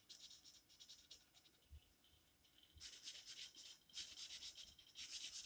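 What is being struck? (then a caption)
Felt-tip marker on a paper coloring book page. An orange felt-tip marker, held in the fingers, is scratched and rubbed across the page of an open paper coloring book lying flat on a table in short coloring strokes. Quiet, bright, scratchy strokes are heard at first, then longer and louder bursts of hissing friction arrive in three clusters toward the end. The sound is almost entirely high-pitched scratching with little low-end weight.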